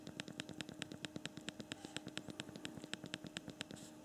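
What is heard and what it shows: Both thumbs type rapidly on the backlit physical plastic QWERTY keyboard of a small handheld BlackBerry Priv smartphone, ending with a finger touching the screen. A fast, steady run of short, crisp plastic key clicks with bright high edges and almost no ring sounds over a faint steady background hiss.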